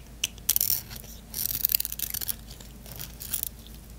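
A solid white bar of soap held in the hand is shaved along its edge with a small blade, cutting off crunchy curls. Short, bright scraping and crackling bursts come in several clusters over a low steady hum, each dying away almost instantly.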